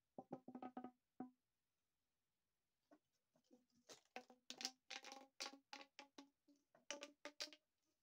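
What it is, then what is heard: Plastic pop tube. A long, hollow, corrugated green plastic pop tube, empty, is held in both hands and bent into an arc, then compressed and stretched so its ribs pop and click. A quick cluster of sharp, bright pops with a short hollow tone is followed by a pause, then a longer, louder run of dry clicks and snaps. Each pop dies away almost instantly.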